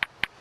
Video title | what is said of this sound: *Ray Mears* Wild Food part 2 | if I tap it and listen to the ring if it's a good piece it should have a real crystal sound